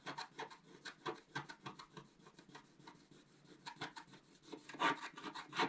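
A wooden stylus scratches across a flat, coated scratch-art paper card near its top edge. It makes a run of short, dry, raspy strokes, each a brief bright burst with almost no low end. The strokes come at an uneven pace and grow louder toward the end.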